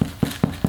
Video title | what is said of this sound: Du pain de seigle 🍞🍞🍞 | pour voir si un pain est cuit, on le tapote, il doit sonner creux